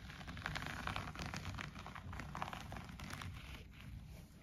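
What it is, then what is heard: Textile bath mat scratched. Fingertips and nails scratch and rub the pile of a green-grey looped-pile shaggy textile bath mat lying flat on the floor, with an untouched wooden bead garland at its edge. A quiet, steady, scratchy rustle runs throughout, with a soft low rumble under brief brighter scrapes, and it fades slightly toward the end.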